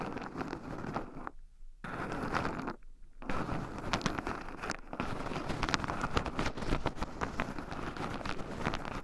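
Two wooden chopsticks stir and poke into a small wooden bowl heaped full of raw shelled pine nuts, with two black microphones buried in the pile so the nuts also rub against them. The result is a dense, close crunchy crackle of nuts scratching and shifting, interrupted by two brief near-silent pauses early on before the stirring continues steadily.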